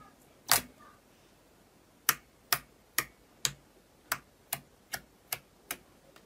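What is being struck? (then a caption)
Thick glossy slime. A large round sheet of thick, glossy, opaque red slime on a white surface is poked with a fingertip, lifted and folded, then pressed with the palm. Ten sharp, bright, clicky pops ring out, starting with one louder snap and then a steadier run of quicker, softer ones that die away almost instantly. Between the pops there is only a faint hush.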